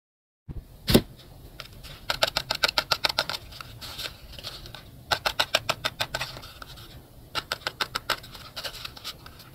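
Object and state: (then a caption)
Paper blind box. A small handmade hollow paper blind box of white paper or cardstock, with a drawn My Melody face and a lucky-colour chart, is held in both hands and turned and rubbed with fingertips and short nails. Quick, dry, bright scratches and taps come in rapid bursts with short pauses between them, over a faint low background.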